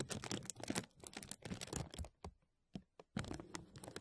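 A thin translucent plastic bag draped over a metal mesh microphone is pinched and rubbed at the top by fingertips. Dense bursts of crinkling and crackling come in busy runs, stop for a quiet gap with a few isolated crackles, then resume.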